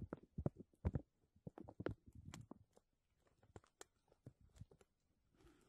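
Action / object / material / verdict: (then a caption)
scrape / textured plastic vacuum-seal bag / plastic / none. A thin, clear, embossed plastic vacuum-seal bag is laid over a metal mesh microphone dome and scratched and pressed with fingertips and nails. This makes quiet, irregular crinkles and crackles, with soft low thumps and bright, sharp ticks. It ends in a brief, steady, hissy rustle.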